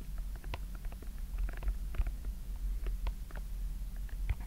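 Fingertips push and pop the hollow yellow, green, pink and orange silicone bubbles of a simple dimple fidget toy with a white plastic frame. Soft, quick, muffled pops and clicks come in an irregular patter over a steady low rumble. The overall sound stays quiet and dull, with no ringing after each press.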